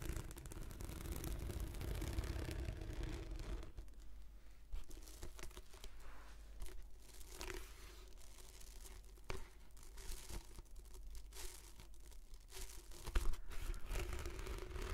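Long nails scratch the textured surface of a translucent plastic anti-slip mat rolled into a long hollow tube. The result is a dense, continuous crackle of scratchy, crinkling sound with a low hum beneath it. The sound is fuller and busier for the first few seconds, thins out in the middle, and grows louder again near the end.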